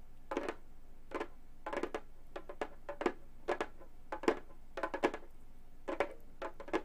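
Gold metal claw tips flutter-tap quickly on a hollow frame drum with a synthetic head. Short bursts of rapid, dry taps have a midrange tone around 440 Hz and die away almost instantly, with brief pauses between bursts.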